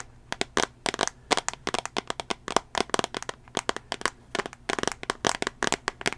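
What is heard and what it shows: Fingernails tap on the glass touchscreen of a small tablet in a solid teal plastic case, held near the microphone. Quick, irregular bursts of sharp, dry clicks carry bright highs and almost no low end. Each tap dies away almost instantly.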